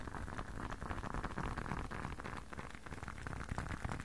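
A closed, hand-sized blue leather long wallet is tapped on its edge and face with fingertips and short nails. Quick, soft, irregular taps run together into a steady, muffled patter, with a dull low thump under a brighter midrange click. The level stays fairly even throughout the clip.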